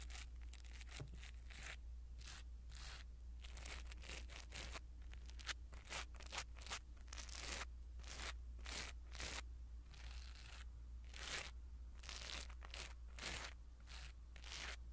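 A small black foam windscreen on a pin microphone is rubbed and scratched with a blue silicone-bristle ear pick, giving close, quiet bursts of bright, crunchy rustling. The scrapes come in quick repeated strokes over a steady low hum.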